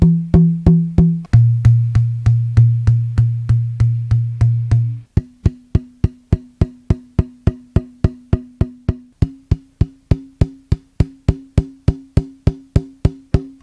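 An unattached violin back plate, a thin, hollow, arched shell of carved wood (probably maple) about 35 cm long, is held upright by two fingers along a nodal line and tapped with a fingertip to bring out its tap tones. About 45 steady taps each give a short, hollow wooden knock with a pitched ring. A few higher-ringing taps are followed by a stretch of deeper, longer-sustaining tones, then a run of crisper taps that ring at a mid pitch and die away quickly.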